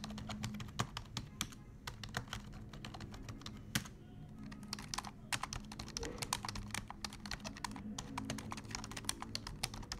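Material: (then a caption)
Plastic. Fingertips of both hands type fast on a black plastic desktop keyboard, producing a dense run of short, bright clicking key taps that stop sharply with almost no ring. A steady low hum runs underneath the typing.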